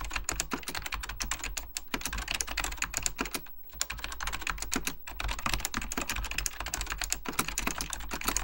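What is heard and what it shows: Fingertips type continuously on a beige plastic full-size Apple Extended Keyboard II, pressing its hollow plastic keycaps over mechanical switches. The result is a dense stream of rapid, sharp, bright clacks with a brief pause near the middle, over a steady low hum.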